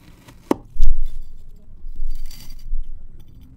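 A large steel chef's knife slices a solid, packed block of multicolored kinetic sand (brown, green, orange and yellow) into thin zigzag slices, cutting through onto the table surface. A sharp tick is followed by soft, deep, muffled thuds and grainy crunching as the blade presses through the sand, with almost all of the sound sitting low and dying away quickly.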